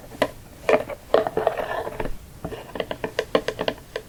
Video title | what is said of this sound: ASMR Tapping *More Santa Box!* | kind of makes sticky sounds almost